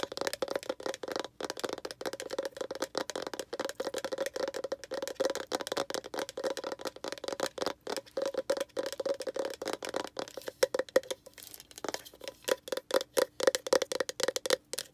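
Long red acrylic nails tap and scratch rapidly on the labelled lid of a small, round, hollow pink plastic jar. The result is a dense stream of short, dry clicks and scrapes over a steady hollow tone around 527 Hz, with little low end and some bright crackle.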